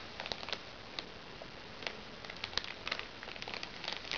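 Red-painted fingernails scratch and tap at a small, crinkly recycled plastic makeup bag resting on a lap. The result is a quiet, steady bright crinkle with scattered sharp ticks and short crackles, carrying little low end.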